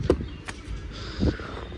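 A hand knocks twice on the thin sheet-metal outer body panels mounted on top of a 2023-24 Maruti Swift VXI, giving two short, dull knocks with little ring. The panels sound very light and thin, unlike the heavier lower body structure.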